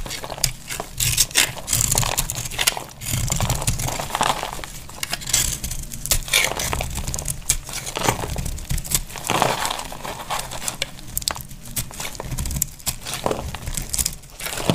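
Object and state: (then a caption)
Dry bar soap being scraped. A utility knife blade scrapes a partly carved dry pink bar of soap, shaving flakes that crunch off. Dense, bright crackling and crumbly scraping continue steadily throughout, with quick sharp snaps over a soft low rumble.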